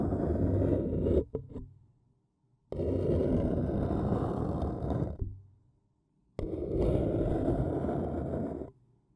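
A thin wooden stick scratches the outer wall of an empty, small, hollow white printed paper cup standing upside down. Three long, rough scraping passes are heard, with short scratches trailing off after the first and quiet gaps between them. The sound is dense and low-heavy.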